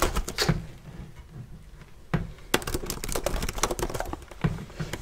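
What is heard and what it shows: Fingertips type fast and hard on the keys of a black plastic HP laptop held tilted. Bursts of sharp, dry clicks come in quick clusters with a short pause near the middle. Each click stops almost at once, with a low thump under the brighter tap.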